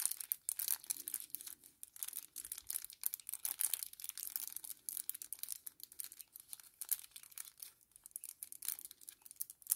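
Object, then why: Kraft paper sachet. A small, flat kraft paper sachet held in both hands is bent and crinkled with the fingertips. The result is quiet, continuous, crisp crinkling made of many rapid, dry crackles. Nearly all of the sound is bright and high, with almost no low end.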